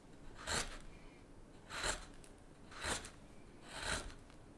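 A straight chisel with a blue handle is pushed along the handle of a solid, light-colored basswood spoon blank held on a cutting mat, shaving and scraping the wood. Four separate rasping strokes, each bright and airy, rise briefly over a low, quiet background.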